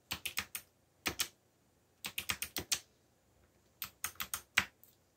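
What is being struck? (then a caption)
Plastic mechanical keyboard. Fingertips, one with a bandage, press and tap the keys of a backlit black plastic mechanical keyboard with Korean keycaps and hollow key switches while typing. Seventeen bright, short clacks come in quick bursts separated by brief pauses, each dying away almost instantly with almost no low end.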